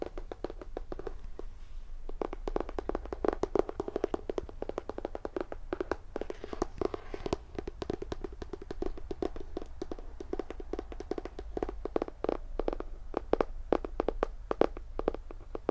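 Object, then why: Hardcover book. Fingers tap and scratch on the hardcover of a graphic novel edition of Brave New World by Aldous Huxley. Rapid, dry taps with very short ring and a midrange knock around 450 Hz run steadily over a low background hum.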